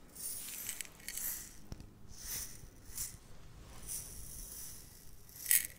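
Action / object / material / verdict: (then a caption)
shake / glass jar of small metal seed beads / glass, metal / none. A small clear glass jar, about half full of tiny iridescent metallic seed beads, is held tilted in one hand, moved past the microphone and shaken so the beads shift and rattle inside. About six soft bursts of bright, hissy rattling come in quiet waves, with the last burst near the end the loudest and sharpest.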